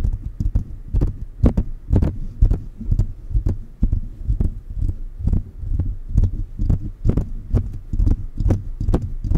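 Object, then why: Metal condenser microphone mesh grille. Fingertips of both hands tap the hollow mesh grille of a silver metal condenser microphone on a stand. The result is a fast, loosely irregular stream of deep, muffled thumps centered around 60 Hz, about two per second, each with a faint bright tick on top. The taps die away almost instantly.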